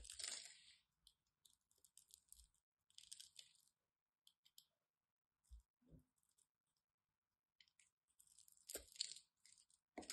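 A solid green and white striped bar of soap, scored into a grid, is carved with a craft knife. Bright, crisp scraping and crumbling bursts come in short clusters, with a few soft low taps between them.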